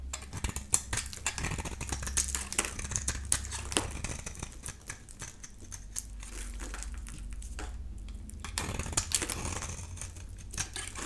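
A utility knife blade shaves curls from a solid yellow dry bar of soap held in the hand, producing a rapid series of short, crisp scraping and cutting sounds with a high, bright edge. The strokes are dry and clipped with almost no ring, over a steady low hum that runs through the clip, and they briefly thin out before picking up again near the end.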